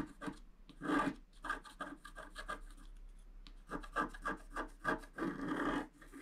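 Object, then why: Scratch art paper scratched with a wooden stylus. A wooden scratch stylus is drawn in steady strokes across a flat A4-size scratch art sheet, black coating over coloured foil paper, lying on a table and held flat by one hand. The result is a series of short, dry rasping scratches with a papery, mid-range grit and some bright edge. A quieter stretch in the middle is followed by another run of quick strokes.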